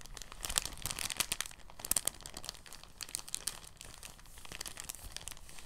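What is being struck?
Thin plastic bag.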